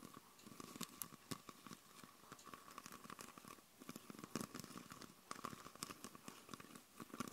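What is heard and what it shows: Long purple nails tap and scratch a hand-sized, hollow, clear plastic Coca-Cola bottle with a red label and red cap, mostly empty with condensation and droplets inside. The result is a quiet, rapid stream of sharp, dry clicks and crinkly scratches over the bottle and its label, each tap dying away almost instantly, with a steady hollow tone humming underneath throughout.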